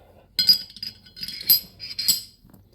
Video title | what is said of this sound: Glock Trigger Upgrade without buying parts (works for all Generations.) | You hear the striker moving inside the channel